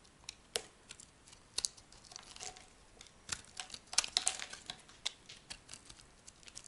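A metal blade carves a solid brown laundry soap block, producing a run of dry, crisp scraping and crackling sounds with bright, sharp clicks scattered irregularly throughout. The brittle soap breaks off in chunks, each snap short and clipped with almost no ring.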